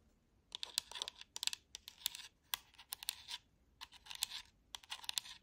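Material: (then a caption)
Plastic. Long manicured nails tap and click on the D-pad, buttons and front of a black plastic Xbox wireless controller, a hollow handheld shell held close. Quick, dry, bright plastic clicks and taps come in uneven bursts with short pauses, sharp and high-pitched with no low end.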